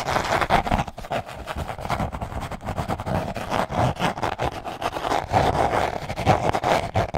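A small, rigid, rectangular green box, likely hollow cardboard, is held in both hands close to the mic and scratched and tapped with long manicured nails and fingertips. It makes a rapid, continuous run of dry scratches and light taps with a papery midrange tone centered around 700 Hz, some hollow low thumps, and very little high end.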